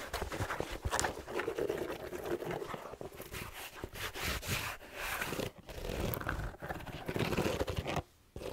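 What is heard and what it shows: An empty black suede slipper shoe with a rubber sole, red plaid trim and fleece lining is held in the hand while fingertips and nails scratch and rub its upper and sole. The result is a steady, dense, rough scratching and rustling with a bright edge, broken by brief dips in loudness and a near-silent gap close to the end.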